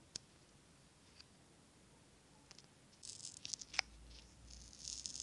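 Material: Glass.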